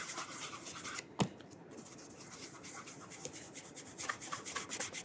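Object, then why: Leather shoe upper. A burgundy calf leather cap-toe oxford with a rubber studded sole is held upside down in one hand while fingertips rub polish along the leather upper near the sole edge. Soft, bright, hissing rubbing strokes repeat in quick bursts, broken by one sharp tap just after the first second. A quieter stretch follows before the brisk rubbing picks up again.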